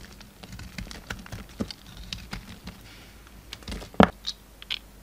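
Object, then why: Solid bar of soap. A utility knife blade carves and scrapes a pink solid bar of soap held in the fingers. Soft, dry scraping and light ticking cuts patter irregularly, with a sharper, louder crack near the end followed by a few quick bright flicks.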